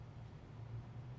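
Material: Nothing is struck.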